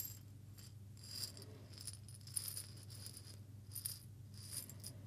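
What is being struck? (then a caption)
Glass jar with small seeds. A small clear glass jar holding a little loose small seeds is held in both hands, shaken and tilted so the contents rattle. Quiet, bright bursts of seeds skittering against the glass come and go over a steady low hum.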